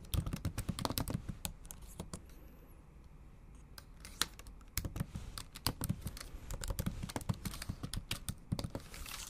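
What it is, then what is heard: Plastic laptop keyboard being typed on. Long acrylic nails type on the plastic keys of a bare, backlit MacBook Pro laptop keyboard, producing rapid, dry clicks and taps with a bright tick on top and a soft low thump beneath. The typing comes in quick bursts, thins to a near pause around the middle, then picks up again in steady runs of short, sharp key strikes that stop instantly.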